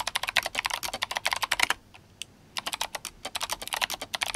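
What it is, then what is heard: Mechanical keyboard with plastic keycaps. Fingertips of both hands type fast on an RGB-backlit GMMK Compact mechanical keyboard with clicky Kailh Box White switches and plastic SA keycaps. Rapid, bright, crisp clicks come in a dense run, pause briefly with only a couple of faint taps, then resume at the same quick pace.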